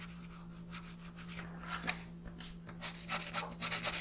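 A green colored pencil makes scratchy shading strokes across the alien's face on a paper coloring page lying flat on a desk. Bright, papery rasping strokes come in an uneven rhythm over a faint steady low hum, growing louder and denser toward the end.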